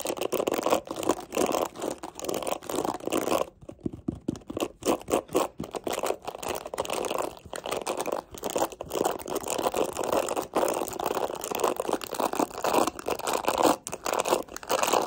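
Long acrylic nails scratch and flick through the dense black plastic bristles of a hand-sized, mint-green plastic paddle hairbrush and tap its plastic rim. The result is a steady stream of dry, crackly scratching and rapid ticking centered in the mid range, with a brief quieter pause near the four-second mark.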